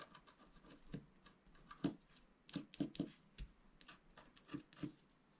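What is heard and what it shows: A pointed wooden stylus scratches near the bottom of a thin, flat black wax-coated scratch-art paper sheet held in one hand. Quiet, dry scratching strokes come in irregular bursts, some with a soft low body and brief bright rasping edges that stop almost instantly.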